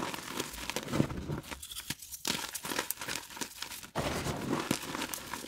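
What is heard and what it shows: Solid, brittle pieces of glow-in-the-dark reformed gym chalk are crushed and rubbed into crumbs between bare, chalk-covered fingers and palms over a bowl of chalk powder under UV light. Dry, gritty crunches and crinkly rubbing crackle steadily, with a brief quieter lull in the middle and a short drop near four seconds before the crumbling picks up again. The crunching leaves behind fine, crumbly chalk.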